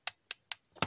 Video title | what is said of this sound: ToyBiz Marvel Legends Series VI Mr. Fantastic - A Chewy Mew Review! | it's just a hollow plastic like you can hear